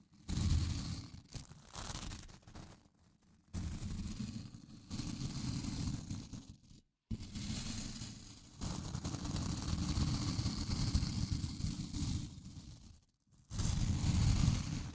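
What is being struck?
Plastic scrub brush with nylon bristles.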